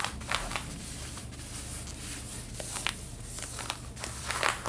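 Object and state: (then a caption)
Denim jeans scratched. Long red-painted nails scratch the back pocket of light blue denim jeans being worn. Bright, dry rasping strokes come in short bursts over a steady low hum, with a few sharper scrapes standing out.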